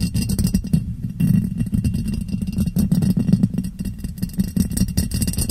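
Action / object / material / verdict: tap / ribbed glass jar / glass / none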